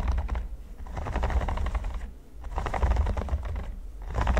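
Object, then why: Silicone baking mat with pyramid studs. Fingertips of both hands tap and scratch across a flat, flexible red silicone baking mat covered in small pyramid studs, lying on a table. Dense bursts of soft, rapid tapping and scratching come in waves with a low rumble underneath, easing off briefly before picking back up.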